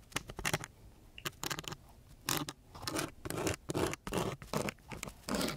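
A wooden stick held in a gloved hand scratches and taps across the grit of a coarse brown sandpaper sheet. Short, rasping strokes come in quick bursts, each a gritty, bright scrape with a dull low thump, broken by brief pauses between.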